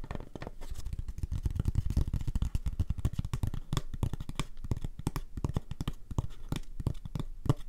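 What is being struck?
Antique photograph on thick cardboard mount.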